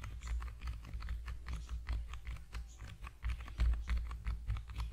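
A small, long, narrow, hollow cream/yellow cardboard product box is held in both hands over a foam-covered microphone and tapped rapidly with the fingertips. The result is a quick, continuous patter of soft, hollow taps with a deep, boomy low end and faint brighter clicks on top.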